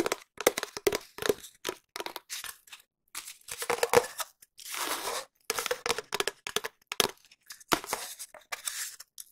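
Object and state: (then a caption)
Cardboard tube. A long, hollow, empty cardboard tube held at an angle near the mic is tapped and scratched with long nails. Quick dry taps and crackly scrapes come in irregular bursts, some fast and some slow, with a hollow tone around 480 Hz and a few longer rasping scratches.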